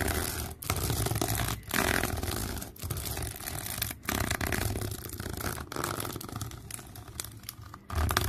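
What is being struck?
Ribbed flexible plastic hose.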